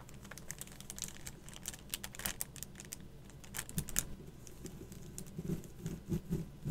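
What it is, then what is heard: Plastic skull stickers on card, tapped with nails. Long matte black acrylic nails tap and scratch a flat card of twelve raised, metallic-look plastic skull stickers on a cardboard backing lying on a table. The result is a quiet, steady run of quick, dry clicks and crinkly scratches with a few louder taps, each dying away almost instantly.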